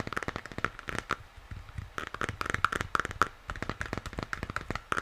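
A hollow plastic moon lamp is held in both hands while fingers tap and scratch the sides of its shell. A rapid, uneven run of dry, crisp taps mixes with scratchy rustling, and some taps leave a brief hollow ping around 1.3 kHz. The sound is close and quiet with very little ring-out.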